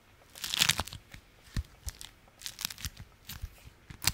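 A folded stack of beeswax-coated fabric food wrap is held in the hands and scratched and squeezed with fingers and nails. It makes bright, crinkly crunches in irregular short bursts, the loudest cluster near the start, with quiet pauses between.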